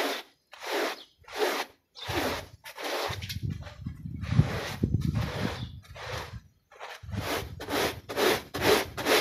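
A plastic bristle brush scrubs a small, wet, soapy, foot-shaped textile pile rug back and forth. The result is a series of rhythmic, bright, rasping strokes, with a low, wet, sloshing rumble underneath through the middle and end.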